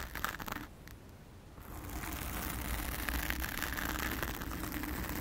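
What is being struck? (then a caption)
Foam microphone windscreen. Long acrylic nails on both hands scratch a blue foam windscreen covering a round studio microphone, producing dense, crunchy scraping with a heavy low rumble. The scratching thins out briefly near the start, then returns steadily and fuller for the rest of the clip.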